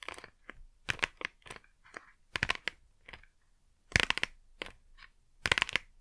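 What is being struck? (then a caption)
Small printed cardboard box. A small, flat, printed cardboard Blu Tack retail box, hollow and probably holding the adhesive, is held upright in both hands and tapped and scratched with long manicured nails. Irregular bursts of quick, dry, bright clicks and scratchy rasps sound from the hollow cardboard, each dying away almost at once with no ring.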